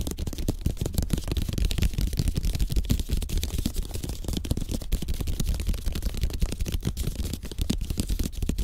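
Fingertips and short nails of both hands tap and scratch fast across a placemat of thin bamboo slats bound with string, lying flat on a table. The result is a dense, steady stream of short, dry, clicky taps with scratchy texture, heavy in low-end thump and with almost no ring after each hit.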